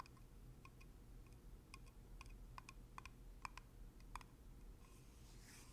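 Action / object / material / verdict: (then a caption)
tap / glass jar with plastic screw lid / plastic / none. Fingertips and nails tap and twist the black plastic screw lid of a medium, full glass jar of coconut oil, making a series of short, crisp clicks and ticks with a slight bright ring around 1 kHz. The taps come in an irregular rhythm over a steady low hum, and a soft brushing hiss from the twisting lid ends the clip.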